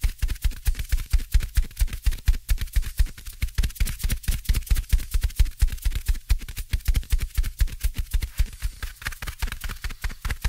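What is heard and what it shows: Fingertips tap and scratch a small, soft, black open-cell foam windscreen on the right of two microphones. The result is a rapid, uneven stream of short, muffled, deep thuds with a faint bright scratchy rustle between them, each thud dying away almost instantly.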